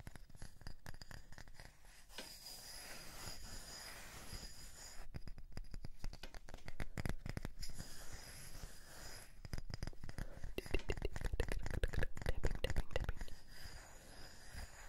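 A flat, light, solid round wooden disc is held upright and scratched and tapped with fingertips and short nails along its face and edge. Dense, uneven bursts of dry scratching and quick, short taps carry a low, soft thump with faint high hiss, growing busier and louder toward the end before easing off.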